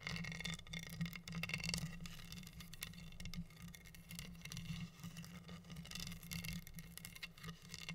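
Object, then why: Wooden heart board covered in acrylic rhinestones. Long nails scratch and tap over the pink acrylic rhinestones covering a flat, solid wooden heart board. The result is a steady, dense stream of fine scratching with quick, bright clicks from the gems, over a constant low hum.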